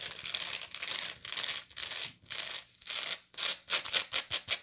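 Long nails of both hands scratch and pick at the raised weave around the center spiral of a round, hollow woven straw/raffia bag. It makes bright, dry scratching bursts that turn into quicker, sharper clicks toward the end, with almost no low end.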